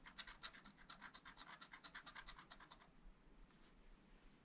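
A pointed wooden stylus scratches rapid short strokes into the black coating of a flat scratch-art paper sheet in a spiral pad while the other hand steadies the pad. Each stroke gives a bright, raspy scratch in a quick, uneven series. After about three seconds the strokes stop, leaving only faint soft hiss.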